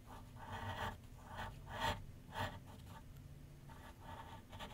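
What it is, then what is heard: Pencil shading on paper on a drawing board. A graphite pencil shades with light scratching strokes on a large white paper sheet mounted on a flat board on an easel. Soft, dry scratching bursts come in an uneven rhythm, with a few stronger strokes standing out over a faint low hum.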